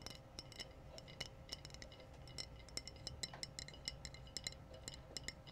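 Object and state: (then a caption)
Glass bottle. Glass bottles are tapped in a quick, uneven series of light taps, each giving a bright, glassy clink that dies away almost at once. A low, soft rumble sits underneath throughout.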